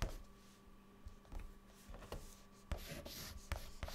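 A white chalk stick held in the fingertips writes words on a flat, dark, solid chalkboard. Quiet scratchy strokes are broken by sharp taps as the chalk meets the board, with bright grit on the louder strokes and a faint steady hum underneath.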